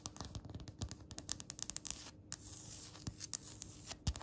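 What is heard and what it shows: Long red acrylic nails tap and scratch across a flat, solid, speckled polished stone countertop. A quick, uneven run of sharp, bright clicks mixes with soft scratching, and a few heavier taps add a low thud. Each click stops almost instantly.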